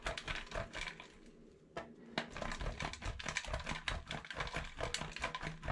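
A solid yellow bar of soap is scraped repeatedly across a stainless steel box grater over a black bowl of shavings in fast grating strokes. Dense, raspy scratching bursts carry bright high-end hiss and low thumps. A brief quieter lull comes before the rapid strokes resume and continue steadily to the end.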